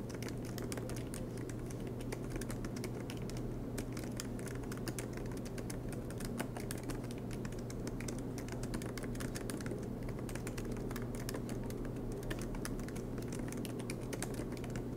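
Fingertips of both hands type rapidly on the black plastic keycaps of an aluminium MacBook Pro laptop resting on a desk mat. The result is a steady stream of quick, soft clicking taps over a constant low hum.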